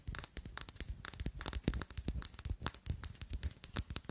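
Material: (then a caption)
Glass. Long nails tap and scratch the cut glass of a thick, faceted clear glass perfume bottle with a square silver cap. The result is a rapid, steady stream of short, crisp clicks and scratchy rasps with bright highs and dull low thumps beneath, each tap dying away almost at once.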